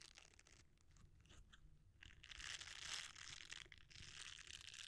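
A red silicone bristle scrubber is rolled up, then flattened, as fingertips squeeze and rub it. The result is a quiet, bright crackling and crinkling rustle, mostly high-pitched with a faint low rumble underneath. It grows louder and denser in the second half.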